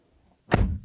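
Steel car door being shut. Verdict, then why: Hollow. The steel driver's door of a 2019 Toyota Prius AWD-e is shut once, giving a single short thud with a quick decay and little low-frequency weight. The closing sound is tinny and hollow, similar to Camry and Corolla doors, and disappointing.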